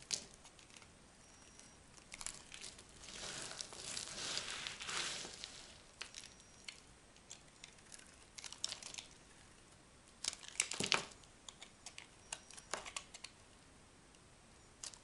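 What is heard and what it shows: A solid, hand-sized, orange-and-white striped dry bar soap, held in one hand, is scraped into flakes with a small metal knife. The result is bright, dry scraping and crinkling, heard as irregular bursts of short crackles with quiet gaps between them. A longer, denser stretch of scraping comes early on, and a sharp cluster of cuts comes near the end.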